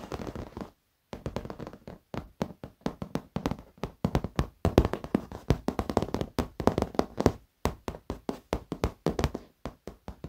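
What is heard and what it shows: Fingertips and short nails tap and scratch across the black padded leather surface of an office chair. The result is a rapid series of soft, dull, low thuds that die away almost instantly, with light scratchy brushing between them. Brief pauses occur near one second and again around seven and a half seconds.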